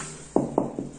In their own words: 얘는 속이 비어있는 겁니다. 이게 뭐냐면 단열 작업을 한 겁니다.